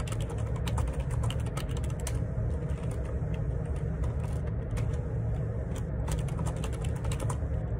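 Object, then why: Plastic keyboard keys. Fingertips type on the plastic keycaps of a black plastic ergonomic split keyboard, a wireless Bluetooth Perixx Periboard 612, lying on a grey laminate desk with a hollow housing. A steady run of bright, crisp key clicks sits over a deep, constant low rumble that fills most of the sound.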